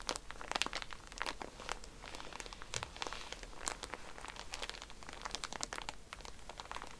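Hands squeeze and crinkle a soft pack of cotton pads in a plastic wrapper. The result is continuous, dense crinkling over seven seconds, with many sharp, bright crackles that die away almost instantly. The crackles sit over a faint low rustle, at a fairly steady, quiet level.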